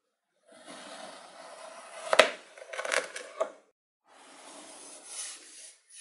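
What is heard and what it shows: A hand-held knife with a yellow handle slices down through small, solid, dome-shaped moulds of blue kinetic sand topped with blue glitter, set in loose glitter. Each cut makes a dry, gritty crunch and scrape, with sharp crackling bursts in the middle and a bright, grainy hiss. A short silence follows before a softer, sandy cut.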